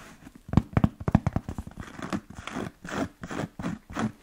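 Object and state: Leather Chelsea boot.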